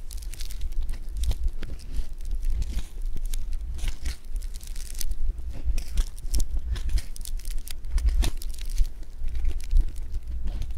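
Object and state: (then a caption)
Foam bead clay (floam) being squished. A handful of blue foam bead clay (floam) is stretched, pressed and folded by fingertips. Dense, continuous crackling and crinkling fills the clip, with bright sharp pops over a low rumble, making a steady tearing, crunchy texture.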